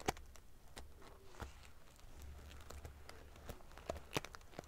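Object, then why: Padded pillow covered in metal sequins. Long fingernails ruffle the rows of silver metal pieces on a large padded metal-sequin fabric pillow. Quiet, crisp clicks and light rattling crinkles scatter over a low steady hum, with a few sharper bright ticks standing out.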